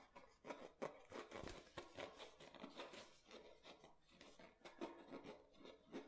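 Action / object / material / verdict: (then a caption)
scrape / thin plastic water bottle / plastic / none. Fingernails scratch the ridged base of an empty, clear plastic water bottle while fingers lightly squeeze its thin plastic. The result is a quiet run of dry, raspy scratches mixed with soft crinkles and small clicks, steady throughout with little low end.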